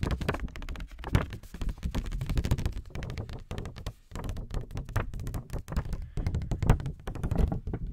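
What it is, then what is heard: Paper index card pad. A small pink lined paper index card pad, held up close, is tapped and scratched with fingernails. The result is a rapid, continuous run of soft, dull taps and thunks with a deep low body, very little brightness, and almost no ring, mixed with brief scratching strokes.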